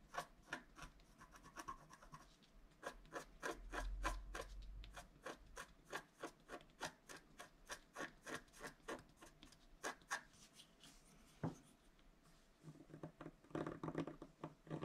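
A wooden stylus scratches strokes into the tree area of a flat scratch-art card made of wax-coated paper. It makes a quiet, quick series of short, dry scratching strokes with some softer rubbing between them. One sharper scrape stands out near the end, followed by a denser stretch of rubbing strokes.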